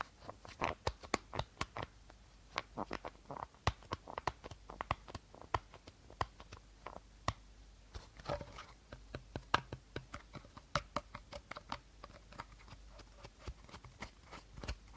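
A hollow, empty clear plastic bottle with a teal cap, held sideways, is scratched and tapped on its body with short nails. Quiet, close, irregular clicks and crinkly scratches come in bursts throughout, with crisp bright transients and a faint low hum underneath.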